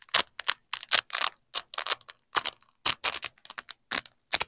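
A yellow nylon hook strip and a black nylon loop strip of hook-and-loop fastener are peeled apart and pressed back together by black-gloved fingers. A quick series of short, crunchy ripping bursts is heard, bright and high with almost no low end and each burst stopping abruptly with no ring.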